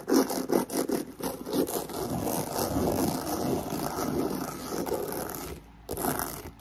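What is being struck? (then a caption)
Croc-embossed faux leather handbag. Long pink nails scratch and tap fast and aggressively on the front of a black croc-embossed faux leather handbag held up in the air. Sharp, separate taps give way to a dense, rasping scrape that briefly stops, then resumes, over the steady hiss of a fan in the background.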